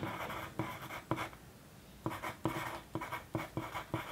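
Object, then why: Paper sheet under a wooden pencil. The sharpened tip of a wooden pencil scratches across a thin, flat white paper sheet lying on a desk during continuous writing. Nine distinct, soft scraping strokes are heard, with a brief quiet pause about halfway through.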